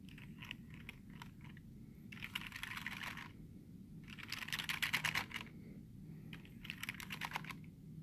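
A short fingernail scratches and taps the space bar and letter keys of a black plastic computer keyboard. Quick, dry clicks and bright, dense bursts of scratching come in three clusters over a low, steady hum.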